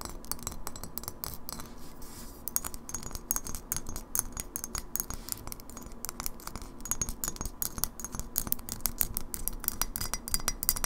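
Long fingernails rapidly tap the bottom and base edge of a partly filled glass kombucha bottle held tilted. A steady stream of quick, sharp, bright glassy clicks with very short ring rises and falls in intensity over a low, soft background rumble.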